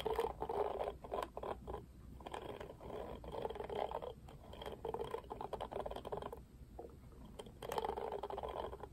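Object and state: Plastic paddle hairbrush, bristles scratched.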